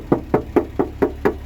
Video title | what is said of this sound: Peugeot 504 break 1974 tour de la voiture carrosserie à faire | ça sonne bien la tôle